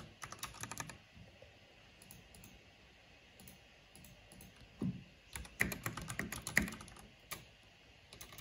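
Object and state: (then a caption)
Plastic mechanical keyboard being typed on. Fingertips and long nails type on a black plastic mechanical keyboard with purple backlight, tapping the keys in uneven bursts of sharp, clicky strokes. A busy flurry at the start gives way to sparse taps, then a louder run of clacks near the end, each with a dry, short-lived knock and bright click.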